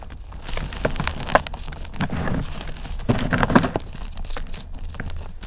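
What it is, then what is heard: Dried chalk and cornstarch block being crushed. Hands break chunks off a multicolored, layered, dried block of gym chalk and cornstarch mudpie and crush them into a pile of powder. Dull, dry crunching and crumbling crackles run steadily, with heavier bursts of crushing near the start and again midway, each stopping dead without ring.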